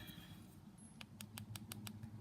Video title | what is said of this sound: Dual Forms with acrylic time saving tip | you tap it sounds like plastic